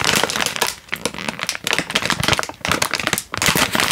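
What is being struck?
Instant noodle packet in plastic wrapper.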